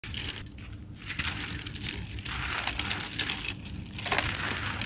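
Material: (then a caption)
Sand-cement. Two bare hands crush and crumble fist-sized, solid, dry, gritty sand-cement clumps with the fingers and palms, beside molded sand-cement mounds, as loose grains fall. Dense, bright gritty crackling and crunching pour out continuously with a low rumbling undertone, swelling in bursts as the clumps break apart.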